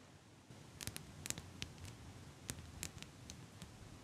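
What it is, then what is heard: Metal eyelash curler. Long pink nails click against and squeeze the hinged frame of a small gold-toned metal eyelash curler held in both hands. A series of quiet, sharp, bright ticks and clicks stands out over a soft, low background hush. Each tick stops almost at once with no ring.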